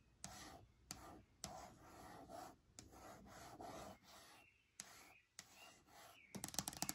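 Long painted nails and fingertips rub and scratch across the flat, smooth lid of a medium white plastic lidded box, probably hollow. Quiet, bright, breathy scraping strokes start with sharp clicks and fade between passes. It ends in a quick flurry of crisp nail taps.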